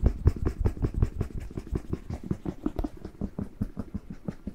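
A whole fresh red bell pepper, hollow and hand-sized, is turned in the hand while fingertips and nails tap and scratch its surface. The result is a rapid, irregular patter of soft, dull, low taps with no ring, mixed with faint scratching.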